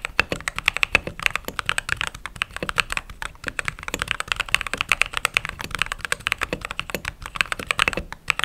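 Fingertips type steadily on a mechanical keyboard with white/cream plastic keycaps. The result is a quick, continuous stream of short, bright clacks that peak around 2.6 kHz, with very little low end. Each keystroke dies away almost instantly.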